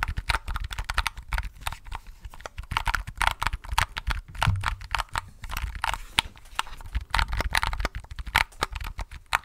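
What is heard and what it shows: A small pink-and-white plastic keypad or mechanical keyboard gadget with round white keycaps and a hollow housing is held in both hands close to the microphone and clicked and tapped with fingertips and pink-painted nails. Rapid, irregular bursts of short, dry plastic clicks sound with a hollow, mid-pitched clack and a bright edge, each dying away almost instantly, over a low thumping undertone.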